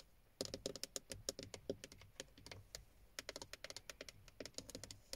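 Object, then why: Moulded plastic steering wheel airbag cover. Long painted nails and fingertips tap rapidly on the textured black plastic airbag cover, a hollow moulded panel with a chrome Toyota emblem, in the centre of a car steering wheel. About 28 quick, dry, clicky taps with a bright edge and a slight hollow knock die away almost instantly, starting after a brief pause and running in irregular bursts.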